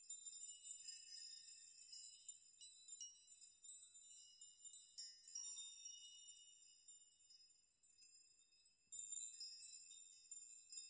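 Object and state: Metal nail chime.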